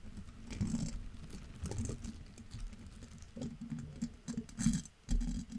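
Gloved hands drag and tap the long soft bristle tips of an orange-pink, solid-bodied silicone scrub brush across the top of a metal mesh grille on a Yeti microphone. The result is a quiet, close, irregular patter of soft scratchy brushing and muffled low taps, with occasional brighter rustling bursts.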